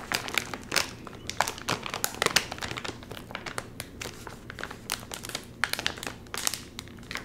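Fingertips of both hands crinkle and tug the top edge of a full, sealed, red and white metallized plastic chip bag. The result is a steady stream of bright, papery crinkling with frequent sharp crackles and short louder bursts that die away almost at once.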